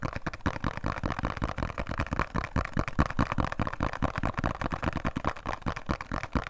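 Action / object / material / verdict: tap / small thin cardboard soap box / cardboard / none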